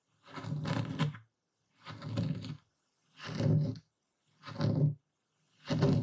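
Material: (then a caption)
Salt crystals. A dark speckled stone pestle, held in the hand, crushes and grinds coarse white epsom salt crystals in a full wooden bowl. Five separate grinding strokes each give a gritty, low, rumbling crunch lasting about a second, with short silences between them.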